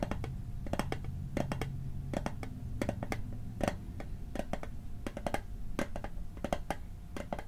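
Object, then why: Small metal mint tin, lid tapped. A small hollow metal Altoids mint tin is held above the microphone while its lid is tapped with fingertips and nails. Quick, irregular clusters of sharp metallic clicks each carry a brief tinny ring around 700 Hz. A steady low rumble runs underneath throughout.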